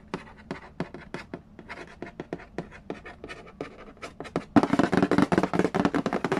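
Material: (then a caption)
Cardboard. Fingertips and nails trace and tap the lid of a medium, hollow cardboard Yahtzee board game box resting on a wooden floor. Light, dry taps come in a loose, uneven rhythm for the first four and a half seconds. Then the tapping turns faster, louder and fuller, with a hollow mid-pitched body.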